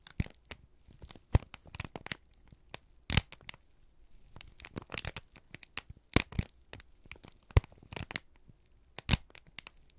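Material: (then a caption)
Paper. A single thin, crumpled sheet of brown kraft paper held in both hands is squeezed and crinkled with fingertips and thumbs. It produces a steady run of sharp, dry crackles and tearing-like crinkles, bright up top over a low hum, with a few louder snaps standing out between softer rustles.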